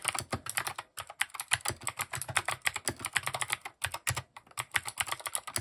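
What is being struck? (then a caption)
Mechanical keyboard with plastic keycaps. A compact mechanical keyboard with plastic keycaps is typed on quickly with the fingertips. It gives a dense run of short, crisp clacks with a bright high edge and little low end, broken by a few brief pauses.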